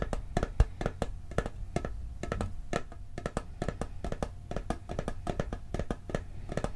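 Fingertips and nails tap quickly on the lid of a round, hollow blue steel cookie tin, giving about 35 short, dry clicks in an uneven rhythm. Each tap stops almost at once, with a faint metallic tone over a low, steady hum underneath.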